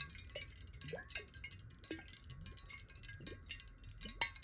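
A clear, hollow glass water bottle, partly filled with water and held in the hand, is tapped quickly with long nails. The result is a quiet stream of bright, glassy ticks with short rings centered near 3.9 kHz, and some rising, chime-like tones sliding up through the lower range.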